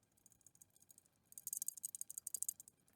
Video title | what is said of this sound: ECCS Lesson 5: Relay Operation and Testing | that's the rattling noise that comes when the spring has failed so if the spring has popped off